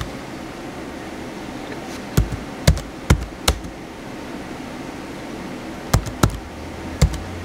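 Fingertips type across the white plastic keys of a small blue plastic HP laptop with a hollow shell. Short, dry, hollow taps come in two scattered bursts over a steady low hiss, each with a thudding low body and a brief bright click. The taps stop quickly with almost no ring.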